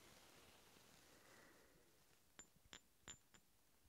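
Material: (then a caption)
Steel. Two large solid steel hex bolts held in one hand are clinked together four times after a couple of seconds of quiet hiss. Each strike gives a sharp, bright metallic tick with a brief high ring that dies away almost at once.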